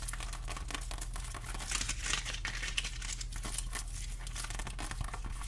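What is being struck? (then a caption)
Whole pineapple rind. Long acrylic nails scratch the scaly rind of a whole fresh pineapple held upright, making a dense run of dry, crinkly scratches with bright, hissy edges. The scratching stays at a steady, quiet level over a constant low hum.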